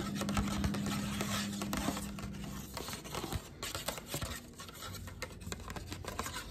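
Long black nails tap and scratch a thin pink glitter-coated paper plate, working over both its plain underside and its glittery top. Quick, uneven taps mix with dry, crackly scratching and a rustle of paper, over a faint low hum that fades after the first few seconds.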